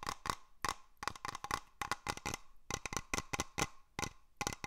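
A small hollow glass cloche dome over a moss terrarium is held up close and tapped with fingernails and fingertips. The result is a quick, uneven series of sharp, clicky taps with a short glassy ring around 1 kHz.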